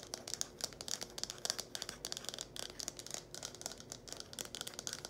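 Long painted nails rapidly tap and scratch the cone and spout of a small red hollow plastic funnel held in both hands. The result is a fast, dense string of bright, dry clicks and scratchy rasps with almost no low end, each tick dying away almost instantly.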